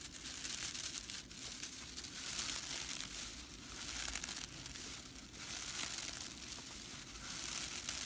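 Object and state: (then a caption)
Straw whisk broom bristles. Fingers with long nails bend, scratch and flick the flat, dry straw bristles of a whisk broom. The result is a steady, bright, dry crackling rattle that swells and eases in loose, uneven waves, with little low end.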